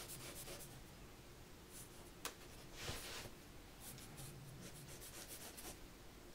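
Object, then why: Pencil on paper sketchbook page. A mechanical pencil scratches and draws lines on white drawing paper in a spiral-bound sketchbook, with the page held flat by one hand. Soft, bright scratching strokes come in quick, uneven bursts, with two sharper accents near the middle, over a faint low background.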